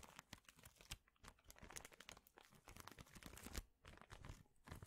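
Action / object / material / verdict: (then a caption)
scrape / plastic bag of thin wooden chips / plastic, wood / none. A large clear plastic bag full of thin, flat wooden chips is squeezed, crinkled and scratched with fingertips. The result is a dense run of crisp, bright crinkling and crackling, with sharp snaps and a few louder crunches over a low rustle.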